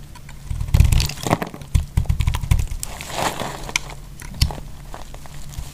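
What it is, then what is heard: Dry bar soap being cut. A thin slab of solid pink dry soap bar, held in fingers with long nails, is scraped and sliced with a metal utility knife blade. Short, dry crackling scrapes and crisp snaps come through in a quick irregular series over a low rumbling bed, with a few sharper cracks standing out.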